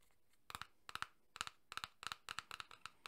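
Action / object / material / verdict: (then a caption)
tap / small cardboard card box / cardboard / none. Fingertips and nails of one hand tap rapidly on a small printed cardboard tuck box for a Red Dead Redemption 2 card deck, held in the other hand and apparently full of cards. The taps are quiet, dry, bright clicks with a papery tone, arriving in quick bursts of two or three. Each tap stops almost instantly, with no ring.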